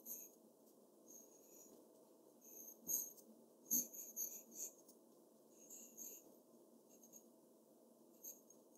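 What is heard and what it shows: The graphite tip of a black pencil scratches across a large flat sheet of white drawing paper, shading a character's face. Short, bright, scratchy strokes come in irregular bursts over a faint, steady low hum, with the loudest strokes near the middle of the clip.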